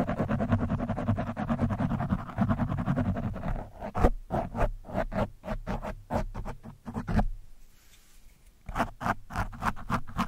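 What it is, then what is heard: Foam microphone windscreen being scratched. An orange foam windscreen on a microphone, soft and porous, is scratched and poked with the thin steel shaft of a screwdriver. The first few seconds are a dense, rapid run of low, muffled scratching. This breaks into separate sharp pokes and scrapes with bright edges, with a brief quiet gap before the pokes resume.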